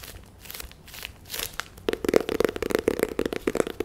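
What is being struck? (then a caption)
Small cardboard box. A small, hollow, white-and-red printed cardboard box is held in the hands and scratched and tapped with long nails. Soft, dry scratching and brushing comes first, then a rapid, irregular run of crisp taps with a hollow, boxy knock.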